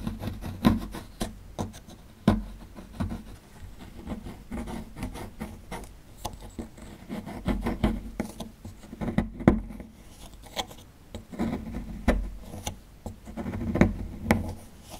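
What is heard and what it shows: A small dark metal-tipped digging tool scrapes and chips at a small solid white plaster (gypsum) block with a dinosaur skeleton relief, held in one hand over a pile of plaster crumbs. Dry, gritty scraping runs throughout, broken by short, sharp chipping taps that die away almost instantly. The sound stays close and muffled, weighted toward the low and middle range with little brightness.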